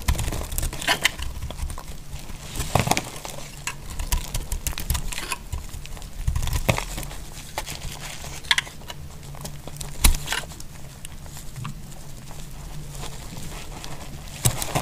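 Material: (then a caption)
Soap. A utility-knife blade cuts slices and curls from a solid, dry purple bar of soap held in the hand, making dry scraping, crinkling and crackling sounds. Sharper snapping cuts stand out at intervals over a steady low hum.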